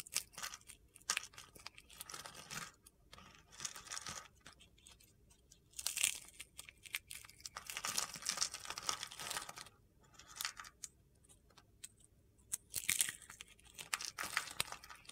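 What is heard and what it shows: A hand with long painted nails squeezes and crumbles a small red dried-soap rose over a pile of brittle red, white and green soap shavings on a white surface, crushing the solid, brittle pieces. Dry, bright crunching and crinkling comes in irregular bursts with quieter gaps between, with almost no low end.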